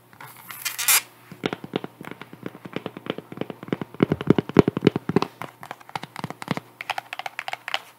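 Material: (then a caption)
Cork. A white sandal with a cork wedge heel and faux leather straps is held up and turned while long nails scratch and tap the textured wedge. A short, bright scratching burst opens, then rapid, irregular dry clicks and taps follow with a faint low hum underneath.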